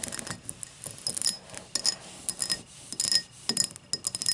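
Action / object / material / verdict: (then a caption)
tap / tall drinking glass / glass / none. Rapid light taps and clinks on a tall drinking glass, with a scratching texture between them. The sound is bright and thin with almost no low end, and each tap dies away quickly with only a faint high ring.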